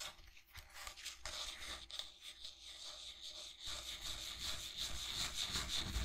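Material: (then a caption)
Resin. Fingertips and nails rub and scratch across the textured body of a steel-lined resin tankard. A soft, uneven run of dry, bright scraping and rustling, with a faint low rumble underneath, grows slightly louder toward the end.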